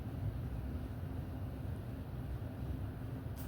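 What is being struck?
Nothing is struck.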